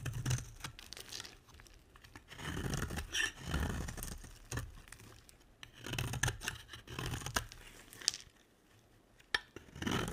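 A utility knife blade scrapes shavings from a solid light blue embossed bar of soap, giving dry, crisp scraping and tearing sounds. Short bursts of bright, crunchy shaving alternate with brief pauses, and a few sharp clicks stand out near the end.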